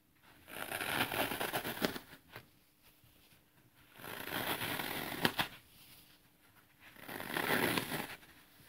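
A small, thin leftover piece of dry green floral foam is held in both hands while thumbs and fingertips press into it and crush it, dropping crumbs onto artificial grass below. Three separate bursts of dense, bright crunching and crackling are heard, with quiet pauses and a few sharp snaps between them.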